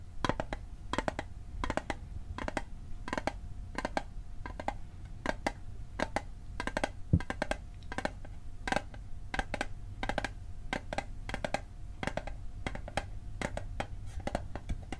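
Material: Metal.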